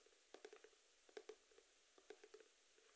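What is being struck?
Small printed cardboard box.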